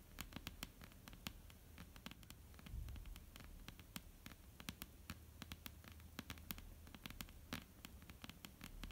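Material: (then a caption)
Wood. Long, almond-shaped painted nails tap and scratch across a solid, flat, dark-brown wooden tabletop. Dozens of quick, sharp clicks ring out with no sustain, scattered unevenly over a low, steady hum and soft scratchy rustling.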